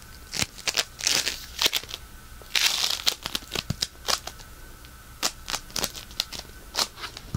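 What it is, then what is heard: Polystyrene bead floam being crunched. A solid lump of pink polystyrene bead floam is squeezed, pinched and crunched with fingertips and thumbs. It gives bright, crackly bead crunches and sharp, quickly fading pops in irregular bursts, with a faint steady tone underneath.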